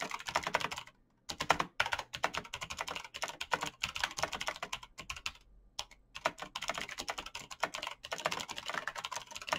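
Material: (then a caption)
Plastic. Fingertips in fingerless knit gloves type quickly on a black plastic mechanical gaming keyboard with clicky green switches, backlit keys and a hollow case. The result is a dense, bright stream of sharp, short clicks with almost no low end, broken by brief pauses near 1 and 5.5 seconds.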